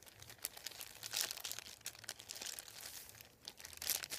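Fingertips and nails rub, tap and crinkle a thin, flat sheet of printed white paper lying on a wooden table. The sound is a dense, bright stream of crackles and soft papery rustles with sharp, quick-fading taps. Louder bursts of crinkling stand out near the middle and end.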